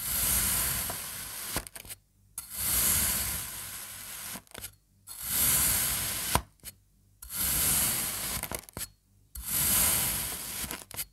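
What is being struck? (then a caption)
Kinetic sand block cut with a serrated knife. A serrated knife cuts crosswise through a partly sliced slab of kinetic sand, passing through its blue and red sections and leaving crumbly strips. Five long, gritty strokes of bright, hissing scraping are heard, with a soft low rumble and short quiet gaps between them.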